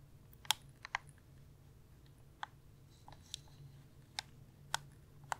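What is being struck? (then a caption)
Plastic gaming controller. A hand-sized, hollow, light blue plastic gaming controller is held in both hands while fingertips and nails tap it and click its buttons. Eight short, bright clicks and taps ring out at irregular intervals over a quiet low hum, each dying away almost instantly.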